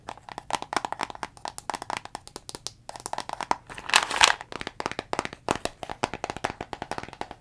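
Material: Plastic.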